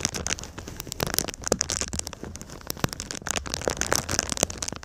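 A silver foil-faced foam insulation sheet, held up in a V shape, is scratched and rubbed by fingertips and nails across its foil surface. Dense, crinkly crackles and sharp scratching ticks run throughout, bright and high with a faint low rumble beneath, sounding somewhat like rain pattering on a surface.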